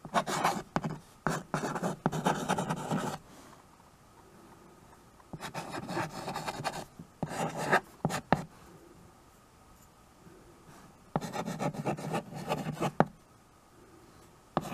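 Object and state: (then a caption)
Chalk writing on a wood-framed chalkboard. A white chalk stick writes and scratches across the black surface of a small, solid, flat wood-framed chalkboard. Three bursts of dry, rasping strokes are broken by sharp taps and quiet pauses in between.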